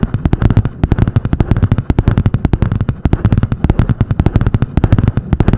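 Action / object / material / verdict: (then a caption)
tap / spiral-bound notebook with a hard cardboard cover / cardboard / none. Long painted nails rapidly tap and scratch the butterfly-print cardboard hard cover of a medium spiral-bound notebook. The result is a fast, steady stream of short, dry, thumpy knocks weighted in the low range, with a soft scratching rasp between them.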